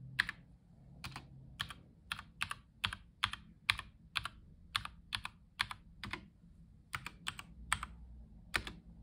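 A black-gloved fingertip presses keys along the bottom rows, including Shift, Z and Ctrl, on a white Logitech Lightspeed G715 tenkeyless mechanical keyboard with plastic keycaps. Each press gives a short, bright, crisp clack that dies away almost at once, in a steady, slightly uneven typing rhythm. A faint low hum sits underneath throughout.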